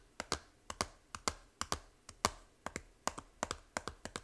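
Long nails tap the front cover of a small hollow plastic 3DS game case, making 20 short, dry, bright clicks that mostly come in quick pairs. Each tap has a hollow, plasticky knock centered around 1.2 kHz and dies away almost instantly, with quiet gaps between them.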